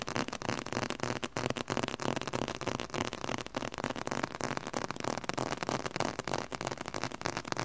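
A thick book with a dark red leather cover and solid pages is held in both hands and tapped on the cover with the fingertips. The taps come in a fast, uneven stream of short, dry knocks centered in the midrange, each dying away almost instantly.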